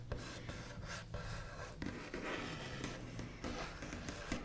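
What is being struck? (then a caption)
Wooden table top. The backs of fingernails scratch, trace and tap across the large, solid, smooth top of a white-finished wooden table, heard close up. Dry, scratchy rubbing runs steadily over a low hum, broken by brief, sharp taps that die away quickly.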